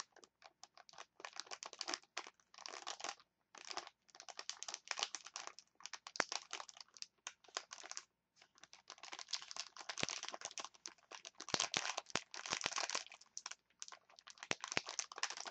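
A clear plastic package of wooden chopsticks is crinkled and tapped with long nails, making dense, bright crackling and sharp clicks with almost no low end. The crinkling comes in quick, dry bursts over about 15 seconds, with short silent gaps near 3 and 8 seconds.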